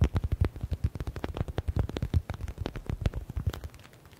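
Fingertips and nails rapidly tap a yellow stitched smiley stress ball with a faux leather cover. The taps come fast and irregular as short, dull, low thumps with a brief bright click on top. They soften toward the end.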